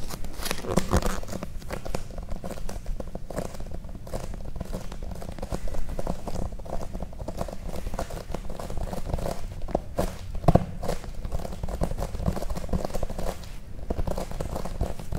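Long painted nails tap and scratch the light green cover of a thick paperback book with a solid paper block, held upright. A dense, continuous run of quick, dull, low taps and soft scratches keeps a steady level throughout, with one sharper knock near the end.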